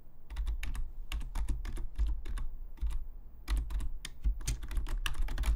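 Fingertips of both hands tap the hollow plastic keys of a black full-size plastic Logitech membrane keyboard lying flat on a desk. Quick, bright, short clicks come in an uneven typing rhythm over a steady low hum.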